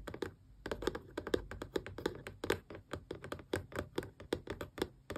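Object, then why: Small closed cardboard box. Long press-on nails rapidly tap the glossy front face of a small, closed, hollow cardboard Xbox controller box. The result is a quick, uneven string of short, dry, clicky taps with a hollow midrange knock, a bright tick at the start of each, and almost no ring.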